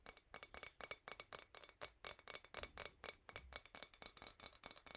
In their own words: Tiny wine glass sound. The sound is pretty bright, hope you will like it ☺️